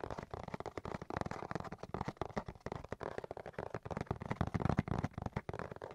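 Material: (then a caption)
Cardboard. A cardboard box is tapped and scratched with rapid, dense, dry taps and scraping that come in quick bursts with almost no ring. The sound is low and papery, weighted toward the low end with little high-frequency content.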